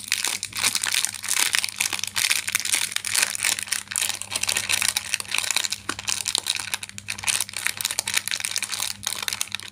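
A sealed Jelimals jelly candy packet of glossy plastic film, full of candies, is gripped in both hands and crumpled, twisted and crinkled with fingertips and nails. Dense, bright crackling and crinkling runs throughout in rapid, overlapping bursts with almost no low end, over a faint steady hum.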